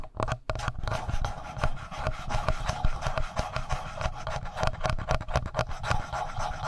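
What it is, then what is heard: Plastic audio recorder body rubbed. Fingertips rub the upper body of a handheld black plastic Tascam audio recorder, right near its mic capsules. The result is a dense, continuous stream of scratchy rubbing and rasping bursts, dominated by a deep, boomy low-end rumble with faint brighter scratchy edges.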